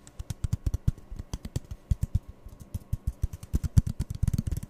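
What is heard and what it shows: Fingertips and nails quickly tap and squeeze two identical empty, hollow brown cardboard toilet-roll tubes held in the hands. The result is a rapid, uneven run of short, dull, hollow low thumps with light bright clicks on top, each dying away almost at once.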